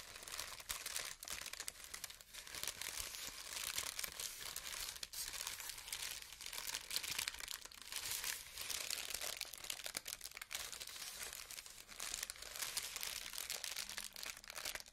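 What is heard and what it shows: Thin white and mint tissue paper sheets are crumpled and rubbed between both hands with long painted nails. A dense, continuous crinkling and rustling plays for the whole clip, bright and airy with almost no low end, rising and falling in loudness as the paper is worked.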